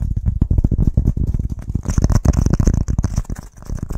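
A flat, brown, scored, hand-sized block of solid pressed wood fiber BBQ firelighter is tapped and scratched fast with fingertips and nails. The result is a dense run of short, dry, low-pitched thuds with almost no ring. Midway through, a faint high scratchy hiss joins the taps.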